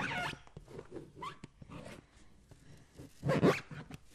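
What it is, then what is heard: Water-filled rubber balloon. A green latex balloon filled with water is held in one hand while the fingers of the other hand tap and scratch its rubber skin. Soft, muffled taps mix with rubbery, scratchy rustles, and a louder, fuller squeaky rub swells near the end before quieter taps return.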